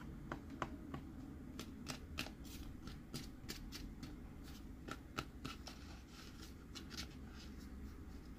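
A hand holds a hollow, cream-white plastic Groot sipper cup with an embossed texture while fingertips and nails tap and scratch its textured side. Quick, irregular, bright clicking taps mix with short scratchy strokes over a steady low background hum. Each tap dies away almost instantly.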